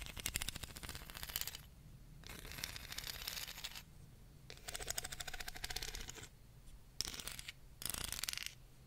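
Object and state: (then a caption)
Wooden comb. Long fingernails tap and scratch along the spine and teeth of a small solid wooden hair comb held close in front of the microphone. Quick, bright, dry clicking and raspy ticking comes in about five bursts, separated by short quieter pauses, with each click dying away almost instantly.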